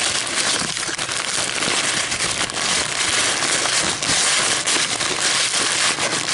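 A crumpled, empty white paper coffee filter is held and crinkled between long metallic nails and fingers. It gives a steady stream of sharp, bright crackling with almost no low end, holding an even loudness throughout.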